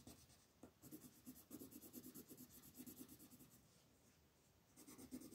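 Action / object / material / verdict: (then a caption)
scrape / wooden colored pencil on a paper sheet / paper / none. A wooden colored pencil makes short, quick rubbing strokes across a flat white paper mandala coloring sheet held by fingertips. The quiet, steady scratching has a bright papery hiss and a soft low rasp. It eases into a near-silent stretch before the strokes pick up again at the end.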